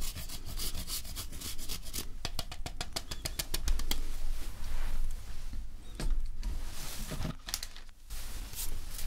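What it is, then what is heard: Chocolate bar grated with a metal grater. A hand-sized solid milk chocolate bar, held in one hand, is scraped repeatedly with a handheld metal grater over a mug of hot chocolate. Quick, bright rasping strokes come in a steady run, densest in the first half, then in slower, separate bursts with brief pauses, all over a constant low hum.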